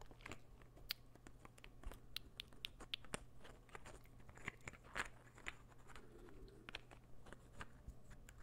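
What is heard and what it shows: A partly assembled light-wood puzzle ball is held in the hand while its pieces are slid together and scratched with the fingertips. The result is quiet, dry, bright clicks, taps and soft scratching, with short sharp knocks scattered throughout over a steady low hum.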